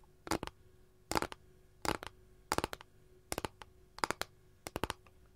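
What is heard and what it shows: Long nails tap and scratch near the edge of a flat, empty capiz shell tray. Quick bursts of two or three sharp, bright clicks repeat about seven times with quiet gaps between them. Each click dies away almost instantly, leaving no ring.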